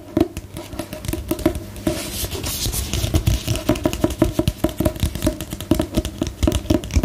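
Long nails tap on the glossy paper cover of a solid book held upright, making short, dry clicks with a low body and a slight knock. The taps start spaced apart, give way to a brief bright scratchy brush, then return quicker and denser until the end.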